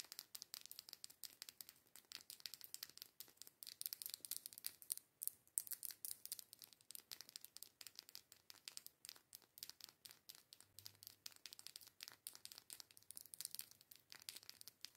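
Long nails rapidly tap and scratch along a small, filled plastic liquid lipstick tube with a pink cap. The result is a quiet, dense stream of crisp, bright clicks and scratchy crinkles with almost no low end, each tap cutting off instantly.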